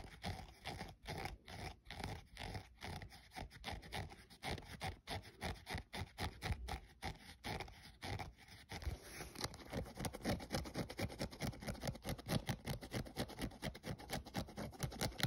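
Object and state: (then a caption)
Synthetic sneaker upper and rubber sole scratched. A thumbnail scratches the synthetic side panel and rubber midsole edge of a grey running shoe, making quick, dry, papery scratching strokes with a low rubbery rasp underneath. The strokes come in a steady rhythm, then turn faster and denser in the second half.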